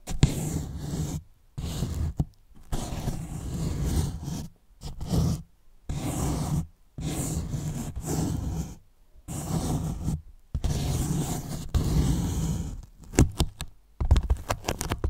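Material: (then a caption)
Polyethylene foam. A hand rests on top of a large, white, hollow polyethylene foam box while a finger slowly scrapes and rubs its surface. The slow strokes produce low, groaning, squeaky drags with a droning pitch, separated by short silences. Toward the end, the rubbing breaks into quicker, choppier squeaks.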